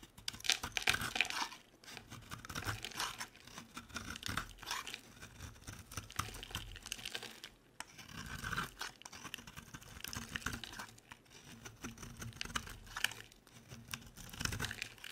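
A utility knife blade shaves thin, dry strips from the edge of a solid, rounded orange bar soap covered in small drilled holes, held in the hand. The cutting produces continuous bright, crisp crunching and crinkly scraping. The cuts come in bursts with brief quiet gaps between them.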